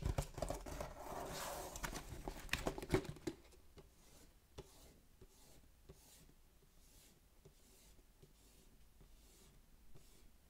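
Fingertips and nails scratch and trace across the printed text on the back panel of a sealed, hollow cardboard Pokémon Fusion Strike Elite Trainer Box. For about the first three seconds there is a dense, louder rustling scrape with a few sharp ticks. It then drops to quiet, faint strokes and light taps against the hollow box.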